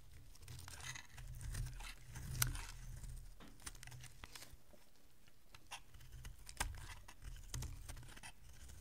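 A solid rectangular bar of dry pink soap, held in the hand, is carved with a metal utility blade. Soft, crumbly scraping and crunching strokes repeat over a low, steady rumble. Short bright clicks stand out, with the sharpest snap just before the midpoint.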